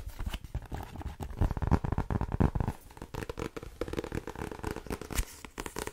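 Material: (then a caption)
Paper. Fingertips and nails tap rapidly on the card cover of a blue paperback book with a solid paper block, which is then held overhead and tapped again. The result is a dense stream of short, dull, low thuds with crinkly clicks, and each tap dies away almost at once.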